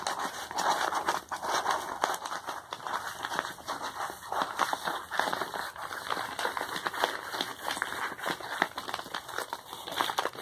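Fingertips scratch and press a medium brown kraft paper bubble-lined padded mailer envelope that appears to hold something, then the hands turn it over to the label side. A steady stream of dry, crinkly scratching and rustling fills the clip, with quick papery crackles bunched in the mids and a bright hiss on top.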